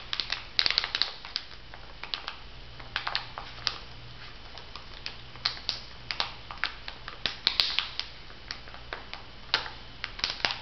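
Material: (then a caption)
Foil plastic. A laminated foil and plastic sheet mask pouch with a pear print is flexed in the hands while fingertips and nails tap and crinkle it. Bright, sharp crackles and clicks come in quick, uneven bursts over a faint steady low hum. The crinkling continues throughout the clip.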